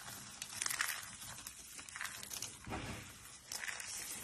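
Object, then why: Soap shavings. Both hands scoop, squeeze and rub a pile of dry, solid, brittle pink, yellow, green and white soap shavings with fingertips and short nails. The result is a steady, bright, crinkly crunching, with louder crackling bursts near the start and end and a softer, duller crush in the middle.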